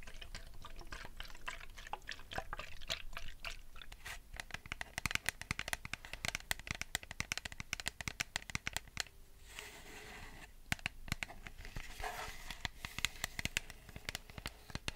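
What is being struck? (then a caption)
Plastic bottle partly filled with liquid. A medium clear plastic Bioderma micellar water bottle with a pink plastic cap, partly filled with liquid, is held in both hands and tapped rapidly with long painted nails, producing dense, sharp, crisp clicks. The bottle is probably also tilted or shaken, and around the middle the tapping briefly eases into a softer, washy sound as the liquid moves inside.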